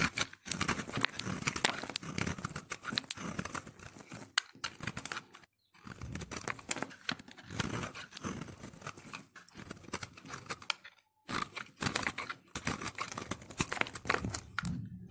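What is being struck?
Bar of soap.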